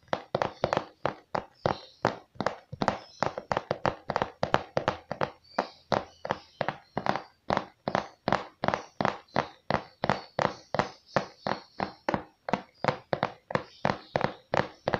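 Fingertips tap rapidly on a glossy pink and purple printed cardboard microphone box, hollow and apparently still holding the product, held up close. About 53 short, dry, hollow taps land in a fast, uneven rhythm. Each has a papery midrange knock around 630 Hz and a quick bright edge that dies almost instantly.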